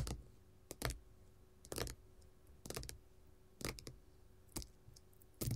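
Long gold metal finger-jewelry nail caps tap a flat red glitter faux leather sheet lying on a table. Brief bursts of quick, dry clicking taps with a dull low thud and bright ticks come in irregular clusters, separated by near-silence.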